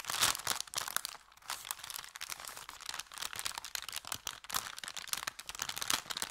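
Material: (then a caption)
Paper. An empty, thin kraft paper bakery bag with a red logo is bent and crinkled in both hands above a felt surface. The result is dense, bright, crackling crinkles in rapid bursts with almost no low end, easing briefly into a quieter stretch early on before picking up again.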